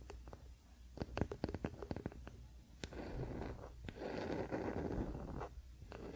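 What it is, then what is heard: Wooden paddle hairbrush. Fingertips and nails of both hands scratch and rub the solid wooden back of a wooden paddle hairbrush lying flat on a blanket. The first half is a quick, irregular run of short, sharp dry scratches and ticks. It then settles into a steadier, softer rubbing hiss with a faint low rumble underneath.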